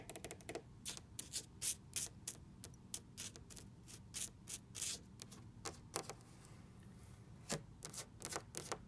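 Long red nails and fingertips tap and scratch the flat panel of a large orange wood-laminate dresser or cabinet with black trim. Quick, irregular bursts of bright, crisp clicks stand out over a soft low rumble, each tap dying away almost at once.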